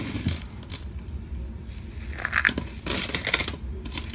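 Both hands scoop up a pile of small, dry, light green soap shreds from a marble surface, then squeeze and rub the crumbly pieces between fingers and palms. The result is a steady dry crunching and crumbling with bright, crackly bursts that swell louder in the second half.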